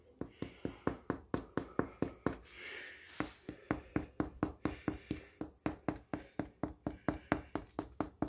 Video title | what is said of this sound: 1631. How to know when homemade sourdough bread is done cooked right ready to take out of the oven | what I'm checking for here is I want to hear that Hollow sound so I'm just going to tap it with my finger